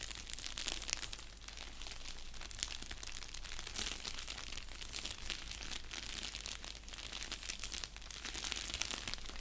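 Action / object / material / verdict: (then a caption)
scrape / padded bubble mailer envelope, paper and plastic / paper, plastic / none. An orange padded bubble mailer envelope resting on a blanket is scratched and crinkled with fingertips and nails. A steady, bright, crisp crackling rustle runs throughout, with a low constant hum underneath.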